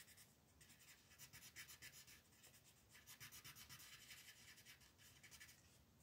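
A green colored pencil shades letters on a flat paper coloring book page with rapid, scratchy back-and-forth strokes. The bright, raspy scratching comes in quick pulses of about four strokes per second, with little low-end body and quiet overall.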